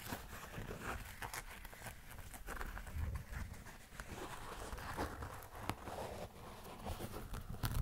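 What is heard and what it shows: Fingernails scratch and rub across the synthetic, leather-like upper and foam sole of an empty, hollow black and white running shoe. The result is a steady run of soft, dry scratching and crinkly rubbing strokes over a dull, low body, with occasional brighter scrapes.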